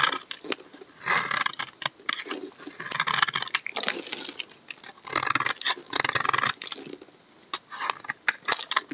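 A hand-sized, solid cream-colored bar of dry soap is held in the hand and shaved along its edge with a black utility knife blade, producing curly flakes. Bright, dry scraping and crisp crackling come in repeated bursts with many sharp clicks and almost no low end.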